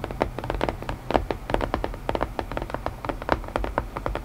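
Fingertips tap quickly and irregularly on a wooden puzzle box, making dry, short knocks with a mid-range hollow tone and almost no ring. The taps come in a steady, overlapping flurry over a faint low rumble.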